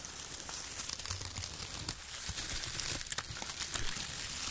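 Fingertips pick up loose strips of shredded brown kraft paper, crumpling and rubbing bunches of them in both hands. The result is a dense, continuous, bright crinkling and rustling with sharp little crackles scattered throughout.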